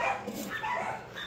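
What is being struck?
Nothing is struck.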